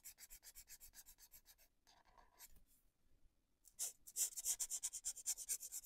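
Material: Paper.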